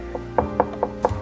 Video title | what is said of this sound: WhatHiFi? Indonesia Corner : Bicara enclosure speaker | saya ketuk-ketuk, dia tebal, jadi tidak kopong, padat gitu